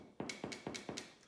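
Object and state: Baked-through wholemeal loaf, hollow.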